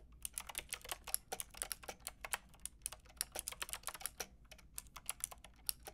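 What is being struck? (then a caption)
Plastic mechanical keyboard. Fingertips with long red nails rapidly tap a Lofree mechanical keyboard with a white plastic case and round pink and grey plastic keycaps. About thirty quick, bright, dry clicks follow one another with no ring, over a faint low hum.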